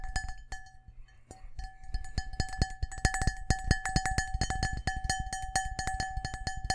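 Fingertips and nails tap quickly on the patterned outer wall of a large, empty, hollow cut-glass crystal bowl held in both hands. The fast, uneven taps each give a sharp click and a low thump, over steady glassy ringing tones near 750 Hz and 1.7 kHz with bright shimmering overtones. There is a brief pause early on before the tapping picks up and grows denser.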